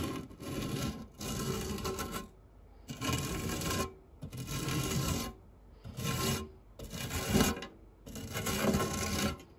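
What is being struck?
Metal fluted tart tin scraped with a silicone spatula.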